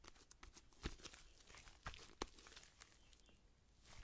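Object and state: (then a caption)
Homemade slime being squeezed. A soft, solid, hand-sized sheet of pink homemade slime is held in both hands away from the microphone while long-nailed fingertips stretch, squeeze and squish it. Quiet, irregular crackling and tearing sounds run throughout, with three sharper, louder pops standing out in the first half.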